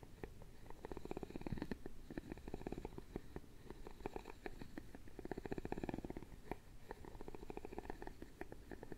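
A wooden stick is scraped across the openwork carved lattice of a wooden lid on a round, hollow jewelry box. It makes a rapid, dry ratcheting rattle of tightly packed clicks with a low, hollow body. The rattle comes in rolling passes that swell loudest around 1.5 and 6 seconds.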